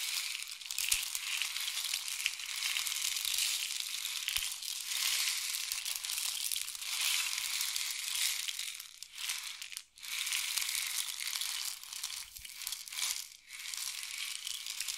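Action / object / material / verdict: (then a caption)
shake / wooden rain stick with trickling filling / wood / none. A long, hollow painted wooden rain stick is tilted and turned in both hands, making a continuous bright, hissing trickle as the filling pours through inside. The sound stays steady, with brief dips near 10 and 13 seconds as the stick is turned over.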